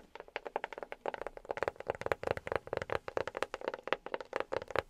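A box is tapped rapidly by fingertips fitted with silicone rubber pads. The result is a dense stream of short, dry taps with a soft pitched tone around 535 Hz and brief bright clicks. The taps run continuously through the clip, too quick and overlapping to count one by one.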